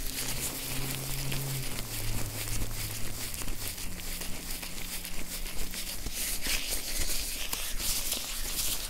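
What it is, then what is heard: Oiled nitrile gloves rubbed together. Gloved hands in blue nitrile gloves coated in oil clasp, squish and rub together close to the recorder. The result is a continuous run of sticky, wet, crinkling squelches with bright crackle, over a faint low steady hum.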